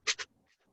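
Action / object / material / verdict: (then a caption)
shake / plastic egg shaker with rice / rice / none. A homemade egg shaker made from a plastic egg container with a small amount of rice inside is shaken. Two quick, bright, hissy rattles are heard, mostly high-frequency, followed by near silence. The lightly filled shaker gives a thin, crisp sound.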